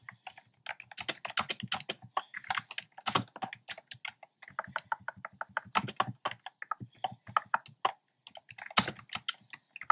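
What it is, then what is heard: Plastic keyboard with round keycaps. Fingertips type steadily on a black plastic keyboard with hollow, round, pastel retro-style keycaps. The result is a rapid stream of short, dry, clacky clicks with a bright edge, each dying away almost instantly, with a brief pause about eight seconds in before the typing resumes.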